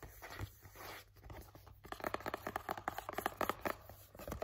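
A flat, hollow, printed cardboard Halti headcollar package is held upright and tapped and scratched with fingertips and nails. Soft, dry scratching and rubbing come first, then a rapid run of sharp, light, hollow taps with a papery, mid-pitched tone.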